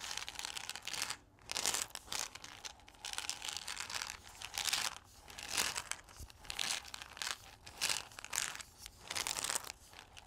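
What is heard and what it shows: A single hollow white paper cup with gold stripes, possibly holding a few coffee beans, is held in both hands while fingertips and nails scratch and rub its outer wall. The result is a steady run of bright, crinkly scratching and rubbing that swells into louder bursts and eases back between them, with almost no low end.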